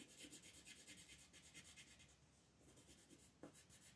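A green wooden colored pencil rubs shading strokes over a leaf area on a flat, thin paper coloring book page lying on a table. It makes soft, bright, scratchy strokes in a quick steady rhythm, with a brief quieter pause midway before the strokes resume, and one sharper tap near the end.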